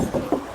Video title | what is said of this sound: SPILL CORTEZ 1.5 ST LUX CVT 2021 -HARGA BOLEH MURAH DIKELASNYA, TAPI LEBIH MEWAH | tuh masih kedengaran banget kalengnya